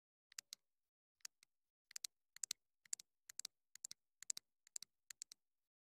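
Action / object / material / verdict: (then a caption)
tap / small plastic clip-on microphone transmitter / plastic / none. Long nails tap and scratch on the hollow body of a small black plastic clip-on wireless mini microphone transmitter held in the hand. The result is quiet, dry, bright clicks that come in quick clusters of two or three, each dying away almost instantly, with silence between them.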